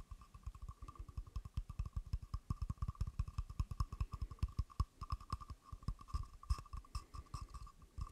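A hand-sized carved wooden frog guiro with a ridged back and a hollow mouth opening is held in one hand beside the mic while the other hand's fingertips and nails tap and scratch along the ridged back. The result is a rapid, uneven stream of short, dull, low knocks that die away almost instantly, over a faint steady tone near 1 kHz.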